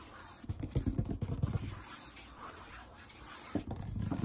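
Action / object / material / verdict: tap / wooden tabletop / wood / none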